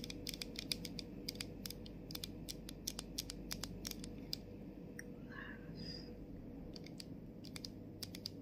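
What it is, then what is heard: Plastic body mist bottle. Long acrylic nails tap and scratch the printed label on the body of a plastic body mist bottle. Rapid, sharp, bright clicks come in quick runs over a faint low hum, with a short scratchy rasp partway through before the tapping resumes.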